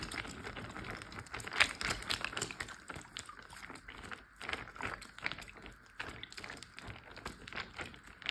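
A large clear plastic Ziploc bag full of water is tapped with fingertips and short nails. The result is a steady run of quick, soft taps and crinkles with a bright plastic edge that die away almost at once.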